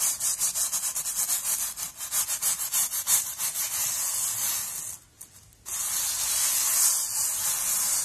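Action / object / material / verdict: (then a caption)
scrape / steel wool scouring pad / steel wire / none. Fingers squeeze, roll and scrub a palm-sized, loosely packed coiled metal wire steel wool scouring pad against a surface, making a bright, hissy scratching rustle. Quick rhythmic strokes in the first few seconds blend into a steady scouring. It breaks off into near silence for about half a second, then resumes continuously to the end.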